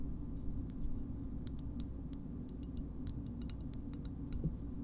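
A small, hard green plastic shoehorn is tapped and scratched with long nails. The result is a string of sharp, bright clicks and light scratches over a steady low hum.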